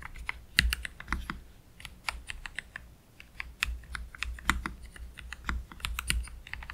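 Slow typing with both hands' fingertips on a black Keychron K3 Pro low-profile mechanical keyboard with Gateron Red low-profile switches and plastic keycaps, resting on a desk mat. An uneven stream of short, crisp keystrokes gives bright plastic clacks over a soft low thud, each cut off almost instantly with no ring.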